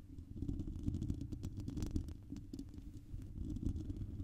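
Long purple nails on both hands scratch and rub a hollow, silver, dome-shaped metal wire-mesh microphone grille held close. The result is a steady, dense, low rumbling scrape, with a deep muffled thrum underneath and faint bright crackly ticks scattered through it.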